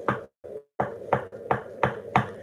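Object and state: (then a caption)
Solid surface countertop, solid. Six short, dull knocks on a solid surface countertop in an RV kitchen, with a brief murmur between the first and second. Each knock is a quick, low thud that dies away almost at once, giving the firm, solid sound of genuine solid surface.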